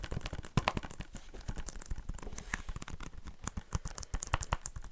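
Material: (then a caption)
Plastic. Fingers tap rapidly on a cracked plastic Blu-ray case of the horror film "It," giving a quick run of soft, dull clicks and knocks with a low thud beneath. A loose broken piece adds a slight ring to some taps, so the case does not give clean tapping sounds.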